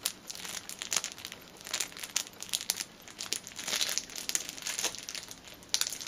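A thin, clear plastic film strip held between both hands is stretched and crinkled with the fingers and nails. This produces a steady run of dry, bright crackling and crinkling, with sharp louder snaps standing out and almost no low end.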